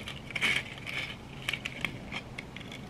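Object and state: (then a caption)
Glitter-coated plastic egg. Long red nails scratch and tap a hand-sized yellow glitter-coated egg, likely hollow plastic, held close. The result is bright, gritty scratching broken by crisp, sharp clicks that die away almost at once, with little low end.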